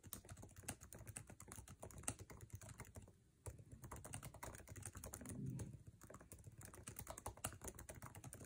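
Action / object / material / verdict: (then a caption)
tap / laptop keyboard with plastic keycaps in an aluminum body / plastic / none. Fingertips tap fast on the plastic keycaps of a MacBook Air laptop keyboard with an aluminum body, typing aggressively in a dense run of short, dry clicks with a low thud under each keystroke. A brief pause falls around the middle before the rapid typing resumes, with a slightly louder stretch just after.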